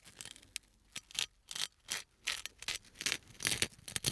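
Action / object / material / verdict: scrape / small perforated thin metal sheet / metal / none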